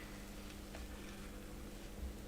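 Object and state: Nothing is struck.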